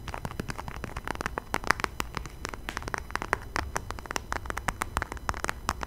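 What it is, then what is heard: Leather wallet. A small, flat, closed burgundy leather wallet held close to the microphone is tapped and scratched with fingertips and nails. Rapid, dry, closely spaced taps and scratchy clicks mix with soft, low rumbling handling noise. The hits are short and bright with almost no ring.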